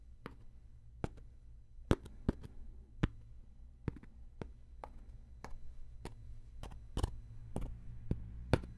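A round, flat, palm-sized woven rattan coaster, solid and thin, is held up in one hand and tapped and scratched with a fingertip and what looks like a thin wooden stick. Sharp, dry clicks ring out irregularly over a low, steady hum, each dying away almost instantly. Faint scratchy rustles fill the gaps between them.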